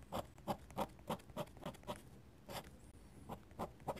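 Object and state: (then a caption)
Pen nib scratching on sketchbook paper. A steel dip pen nib scratches hatching strokes across a flat paper sketchbook page. Quick, dry, scratchy strokes repeat at a brisk, slightly uneven pace of about three per second. Each is a short, papery burst with a midrange core and a bright edge, separated by quiet moments.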